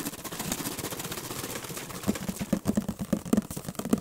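Fingertips and nails tap and scratch the printed sides of a hollow orange-and-white paperboard juice carton, about a litre in size, held in one hand close to the microphone. The first half is a dense, papery scratching rustle. It then gives way to quick, irregular, dry taps with a short, hollow, low knock.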